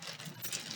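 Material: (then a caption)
Metal. A bag of metal coins is moved around, producing a continuous bright jingling of change clinking together, mostly high-pitched. The bag is shaken so its sound can be remembered for a later guessing game.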